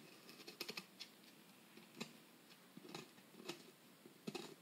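A metal pick scrapes and picks at the solid plaster block of a dig kit, working a dusty excavation hole into its surface. Quiet, dry, bright scratches and sharp little clicks come in uneven bursts over a faint hiss, each one dying away almost at once.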